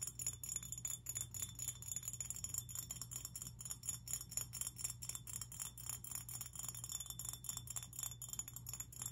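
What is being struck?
Glass fish figurine.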